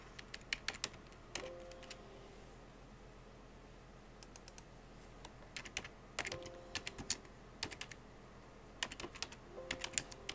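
Fingertips with painted nails tap the hollow keycaps of a full-size black plastic computer keyboard in rapid bursts of typing. Sharp, bright clicks come in quick clusters separated by short quiet pauses, with faint low-mid tones briefly sounding under some bursts.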